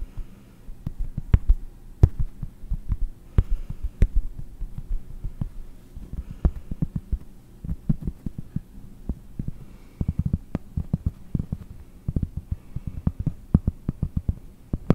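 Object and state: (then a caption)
Cork board. Fingernails tap and scratch the back of a round, flat cork board held beside the microphone. Many quick, dry, muffled taps come in irregular bursts over a low steady hum, almost all of the sound deep and thumping with no ring after each tap.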